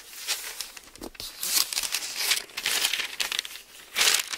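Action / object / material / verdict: scrape / thin paper book pages / paper / none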